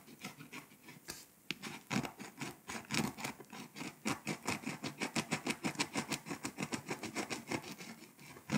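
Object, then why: Foil-coated paper scratch-off map. A pink scraper tool scratches the foil coating off Lithuania on a flat, foil-coated paper scratch-off map poster. Rapid, uneven rasping strokes, roughly three per second, give a dry, papery scratch with bright hiss over a low scuffing body.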